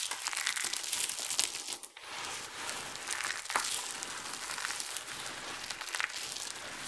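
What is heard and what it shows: Fingers with long nails crumble small pieces of dry, multicolored soap shavings, while cupped hands scoop and pour the chips and palms sweep over the pile. The result is a steady, dry, bright crumbling and crinkling, dense with tiny crackles and nearly no low end, with a brief lull around the two-second mark.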